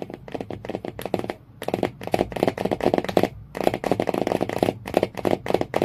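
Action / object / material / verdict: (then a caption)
tap / hardcover book with cardboard cover / cardboard / none. Fingernails tap quickly near the spine of a hardcover book with a cardboard cover, in dense bursts of dry, hollow clicks centered in the low-mids. The rapid tapping pauses briefly twice before resuming, and each tap dies away almost instantly.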